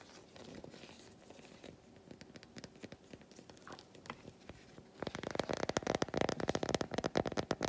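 Long white nails scratch an unwrapped solid milk chocolate bar held in both hands. For the first five seconds there are quiet, sparse scratches and light clicks. Then the sound becomes a louder, denser run of rapid dry scratching and tapping.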